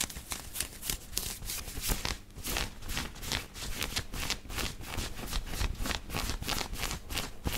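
Fingertips and nails quickly scratch the chest of a black knit cotton t-shirt worn on the body. A rapid, steady series of dry, bright scratching strokes rasps over a soft low rumble, each stroke ending almost at once.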